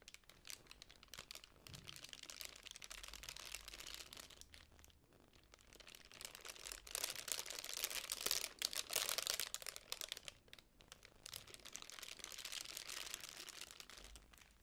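A small magenta tissue paper honeycomb fan with white cardboard covers is opened and closed by hand, its paper folds crinkling under nails and fingertips. Dense, bright, rapid crinkling and rustling runs throughout, swelling louder in the middle and easing off between passes.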